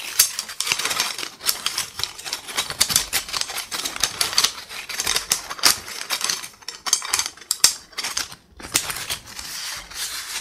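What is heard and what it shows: A bundle of thin, solid, light-colored wooden sticks, chopsticks or skewers, is held close to the mic and tapped and rubbed by fingertips and short lilac-painted nails. The result is a dense, rapid stream of dry, bright clicks and scratchy rustles with almost no low end and very short decay.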